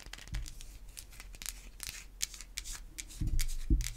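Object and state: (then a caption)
Bar of soap. A solid white, hand-sized bar of soap is scratched and tapped with long white acrylic nail tips. Dry, bright scratching strokes come in an irregular run, with a few duller low taps landing louder near the end.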